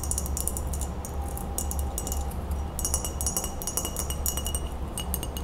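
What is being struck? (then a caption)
Glass jar. An empty, clear, embossed glass Ball mason jar, hollow and held tilted, is tapped quickly with long acrylic nails on its sides and base. A dense run of bright, short glassy clicks and clinks plays over a steady low hum.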